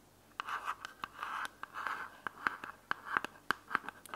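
A small, closed, hollow white plastic earbuds charging case has its edges and top scratched and tapped with long fingernails. Soft, papery scratching swells alternate with crisp, bright clicks in an uneven rhythm. The sound is quiet, dry and close, with no ring after each tap.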